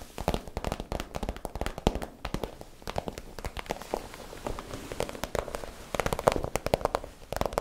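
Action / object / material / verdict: tap / flexible PVC plastic pouch / PVC plastic / none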